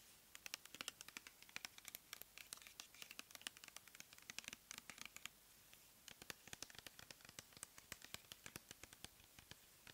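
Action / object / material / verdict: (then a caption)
tap / plastic pump bottle of cleansing gel / plastic / none. Long nails scratch and tap a clear plastic pump bottle full of cleansing gel, making rapid, sharp, bright clicks and scratchy ticks with almost no low end. The taps come in dense bursts, pause briefly around the middle, then resume just as quick and crisp.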